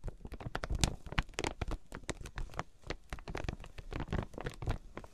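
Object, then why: Quilted fabric package in plastic wrap. Long pink nails tap and scratch the clear plastic wrap sealing a flat quilted fabric item with tags, resting on a fluffy mat. Dense, quick taps and crinkly scratches follow one another throughout, each with a dull low thump and a bright, dry crackle of plastic that dies away almost at once.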